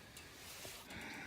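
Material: Nothing is struck.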